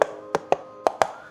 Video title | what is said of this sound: This Is The Best Prebuilt Keyboard I've Tested - Iqunix L80 Cosmic Traveller | it's not that solid but it's not hollow not creaky